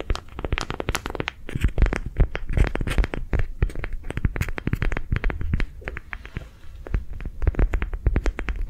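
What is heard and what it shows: A hollow, lime green, soft ribbed rubber sensory ball is held in the hands and tapped, scratched and squeezed with long nails. Rapid, dense, muffled low thumps come with crinkly, crackling scratches, each tap dying away almost at once.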